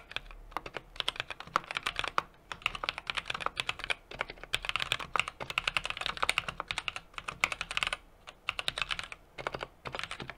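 A small 60% mechanical keyboard with an aluminum case, brass plate and plastic keycaps is typed on continuously with the fingertips. Rapid streams of short, bright clacks with a clicky mid-high tone around 2.2 kHz come in bursts, separated by brief pauses near 2, 4 and 8 seconds. Each keystroke dies away almost instantly, with very little low-end.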